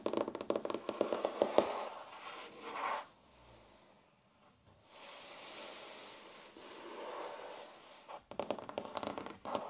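Fingernails of both hands tap and drum rapidly on a large solid wooden tabletop, producing dense bursts of short, dry clicks centered around 580 Hz. After a brief near-silent pause, light scratching across the wood makes a soft, steady hiss. The quick tapping then returns to close the clip.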